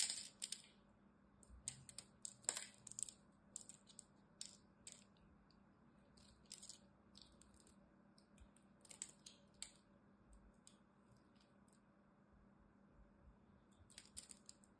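A black knife blade cuts and scrapes the edge of a solid green bar of dry soap held between the fingers, releasing brittle flakes. Quiet, bright, crisp crackling scrapes and clicks come in irregular bursts over a faint steady low hum.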